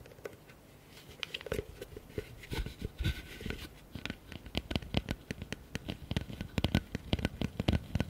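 A medium, hollow, empty blue plastic bucket, held upside down near the mics, is tapped and scratched with fingertips and nails. Quick, dull, low thuds with very little ring mix with dry, bright scratching and patter. The pace is fast and loose, growing denser and louder toward the end.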